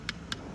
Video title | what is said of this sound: this is an EMERGENCY ... what comes out of here!?! | if you tap it, listen, that's like a high-pitched tapping noise